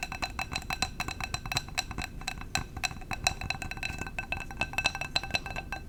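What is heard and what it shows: Fingers tap rapidly on a glass candle jar, producing a steady stream of short, bright clinks with a ringing tone near 2.6 kHz that dies away almost instantly after each tap. The taps come in uneven clusters at a soft level over a faint low rumble.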